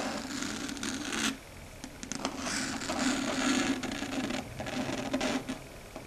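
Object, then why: Chalkboard surface. Long red stiletto nails tap and scratch across a flat, dark grey matte chalkboard, a solid board. Dry scraping strokes with bright, hissy edges mix with quick clicking taps and a steady mid-range tone, pausing briefly before the scratching resumes.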